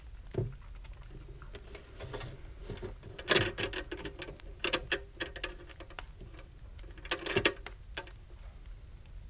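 Fingertips and nails tap and scratch the sides and lid edge of a small, hollow brass box with a latch. Soft pattering taps and brighter, sharper clicks sit over a dry, scratchy texture, with a faint hollow tone around 350 Hz. Each tap dies away almost instantly, and a few louder clusters stand out from the quiet patter.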